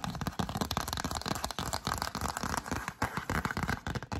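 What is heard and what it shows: Long acrylic nails tap and scratch a yellow cardstock greeting card, shown open and then closed, held close to the microphone. A dense run of quick, dry papery taps and crinkly scratches with a soft low thump in each hit, fading almost instantly with no ringing.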